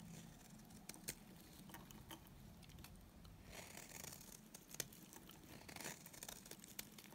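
A solid, dry white bar of soap is held in the hand and shaved along its edge with a utility knife blade. The result is a quiet, steady run of soft, crinkly scraping with a bright, hissy texture. Short sharp ticks and crisp flurries stand out here and there over a faint low rumble.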